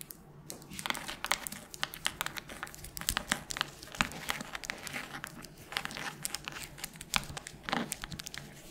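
Long nails scratch and tap on the cover of a solid red hardcover book, possibly along the page edges too. The sound is a quiet, dense run of dry, crinkly scratches with bright, sharp taps that stop instantly, with almost no low end.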